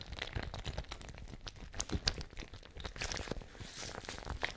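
A patterned fabric ice bag with a metal cap and water inside is shaken and squeezed close up. It makes a dense run of soft crinkling and crunching with low, watery thumps underneath and brief bright crackles scattered throughout.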